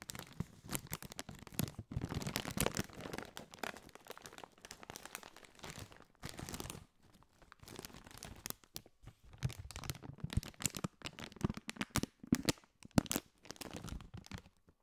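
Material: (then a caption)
Metallized plastic. A partly filled Doritos chip bag of foil-lined, metallized plastic is crinkled and scratched with fingertips. Dense bursts of crisp crackling and rustling come and go, with brief quiet gaps between the busier stretches.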